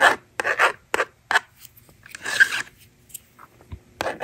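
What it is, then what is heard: Plastic magnetic drawing board. A plastic stylus scratches across a hand-held plastic magnetic drawing board in short, dry, rasping strokes separated by quiet gaps, then the screen is erased with the slider in a longer, broader scrape. A final rasping stroke closes the clip.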